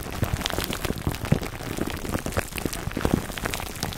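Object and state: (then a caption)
Plastic-wrapped foam microphone cover. Fingertips scratch the top of a foam microphone cover wrapped in clear plastic film, producing a dense, continuous crackle of crinkling. The sound is like rain pattering on a surface, with soft low thumps underneath and scattered bright ticks, all very short and dry.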